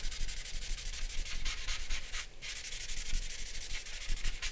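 A grey paper blending stump is rubbed back and forth over charcoal shading on a large drawing paper sheet covered in charcoal, resting on a black board on a wooden desk. The result is a steady, rhythmic, dry scratchy rubbing with a bright papery hiss over a soft low rumble, with a brief lull just after the two-second mark before the strokes resume.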